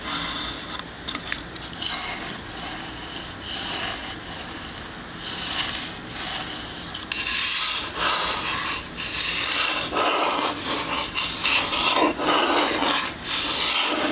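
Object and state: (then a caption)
Wooden plank sign scratched by fingertips. Fingertips and nails rub and scratch the whitewashed plank face of a small, square, hollow-backed wooden shadow-box sign, with a white wooden frame and "Sleigh bells ring" lettering, held up beside a binaural microphone. The result is a continuous, bright, dry scraping and rasping with a loose rhythmic back-and-forth texture and almost no low end. It grows louder and denser after about seven seconds.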